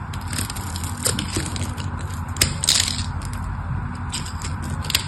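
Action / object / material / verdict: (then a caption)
scrape / soap bar / soap / none. A craft knife scrapes carved cubes off the face of a solid mauve rectangular purple bar soap with a diamond pattern, held in the hand. Dense, crisp scraping and crunching with bright, high crackle flickers over a steady low rumble, with sharper snaps near the middle and at the end.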